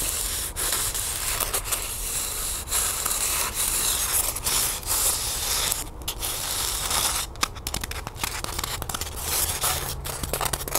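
Long nails scratch and rub along the surface of a small, solid white styrofoam block held in both hands. The result is a steady, bright, dry scraping hiss with a low rumble underneath. Short gaps and quick scratchy strokes appear toward the end.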